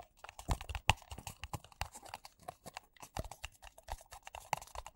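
Two identical empty white paper coffee cups with a printed logo, hollow and thin-walled, are tapped fast with fingertips and nails. The result is a quiet stream of rapid, irregular taps: short dry clicks with a soft low thump beneath bright tapping, each dying away almost instantly without ringing.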